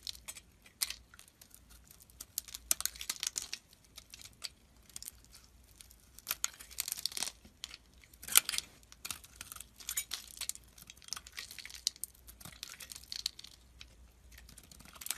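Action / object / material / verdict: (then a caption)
scrape / soap bar scraped with a metal blade / soap / none. A solid white bar of soap held in the palm is scraped and carved with a metal box-cutter blade, sending small flakes falling. Quiet, dry, crisp scraping and crackling comes in many short bright bursts with brief pauses, with almost no low end.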